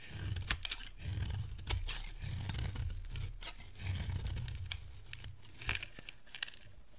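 A dry yellow solid bar of soap, held in the hand, is carved and scraped with a metal box-cutter blade. Crisp, crunchy scraping and tearing sounds come in bursts with bright hiss, a few sharp clicks and a low rumble underneath.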